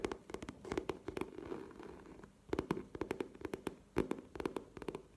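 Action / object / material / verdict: tap / coated canvas cosmetic pouch / coated canvas / none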